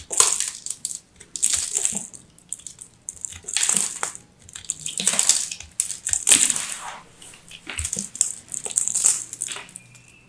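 A solid teal dry soap ball, held in the fingers, is cut with a craft knife, and chunks crumble off. The sound is a series of bright, dry crackling and crunching scrapes in repeated swells. Each crunch falls away quickly with almost no low end.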